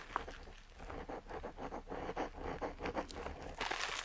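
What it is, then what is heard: Parchment-style paper scratched by a metal nib. A metal dip pen nib, held by a hand with long nails, scratches short ink strokes across a flat, aged-look parchment-style paper sheet. Quiet, dry scratching comes in a steady run of brief strokes, with a brighter, louder rasp at the end.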